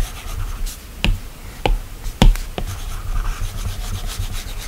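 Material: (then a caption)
Glass. A plastic stylus tip strokes and taps across the flat, solid glass touchscreen of an iPad while drawing. A soft, continuous rubbing scratch runs throughout, mostly low and dull, broken by a few short, sharp clicks that stop almost at once.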